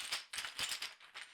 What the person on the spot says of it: all that clickety-clackety inside this bag? So, it's heavy and it's loud